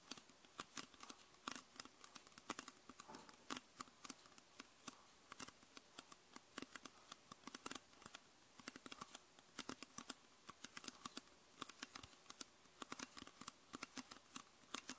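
Long purple nails tap the body near the base of a clear PET Coca-Cola soda bottle with a red label, hollow and mostly empty. The result is a quiet, steady stream of quick, crisp plastic clicks and ticks, bright with almost no low end. Each tap dies away at once, with no ring.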